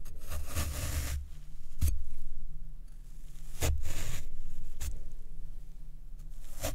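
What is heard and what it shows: A white plastic fork repeatedly pokes and presses into a soft, porous square block of black, water-soaked floral foam with a dimpled surface, resting on a wooden tray beside a second foam block held still under a hand. Each press gives a low, damp, crunchy scraping squish that rises and fades in broad swells, with short bright crackles at the sharper pokes.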